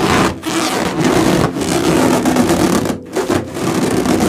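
A large, hollow, air-filled orange latex balloon with white and blue stripes is held in both hands and rubbed across its surface with fingertips and palms, while other balloons rest untouched nearby. The rubbing produces a steady, loud squeaky friction sound with a rasping, broadband texture and a squeal centered around 250 Hz. It dips briefly a few times as the hands shift before resuming.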